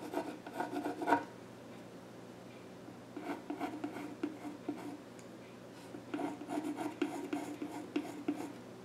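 A yellow graphite pencil scratches and shades across the flat top of a solid, dark-stained wooden child's stool. The result is a dry, raspy rubbing heard in three bursts, with quiet pauses near 1 to 3 seconds and 5 to 6 seconds.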